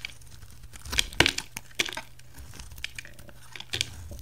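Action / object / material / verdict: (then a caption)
scrape / bar soap / soap / none. A utility knife carves a solid bright green oval bar of soap, shaving slices from its bottom edge. Crisp, bright crackling scrapes come in short bursts, with a few sharper cuts standing out over a faint low hum.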